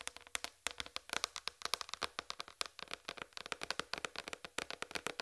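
Long red fingernails tap rapidly on a large, flat white plastic tray with a raised rim, hollow underneath. The result is a dense run of quick, sharp, bright clicks with almost no low end, each dying away instantly.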